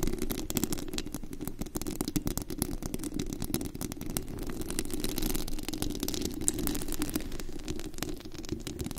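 Long green-black acrylic nails scratch and tap the hollow, white-painted metal mesh grille of a large condenser microphone with a glittery body. The result is a dense, continuous stream of rough scratching and rapid, crackly taps, heavy with low rumble and lightly flecked with high, bright clicks. The level stays fairly steady throughout.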